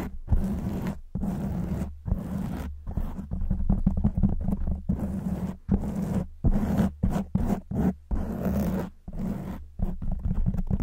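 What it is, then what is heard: Foam microphone windscreen. Long white nails of both hands scratch vigorously at a black foam windscreen on a silver microphone, making a dense, scratchy rumble heavy in the low end with a steady hum near 195 Hz. The scratching comes in bursts separated by short silent gaps.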